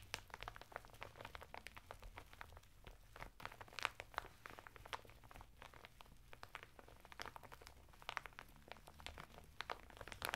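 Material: Plastic, fibre.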